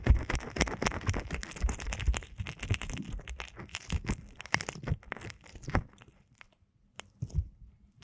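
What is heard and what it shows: Both index fingertips press and rub into the ear canals of a binaural microphone made of a pair of soft, solid silicone ear models on blocks, coated with oil or lotion. Dense, wet squishing and crunching rustles are heavy in the low end, moving from right to left. The rubbing thins out toward the end to a few sparse squelches between near-silent gaps.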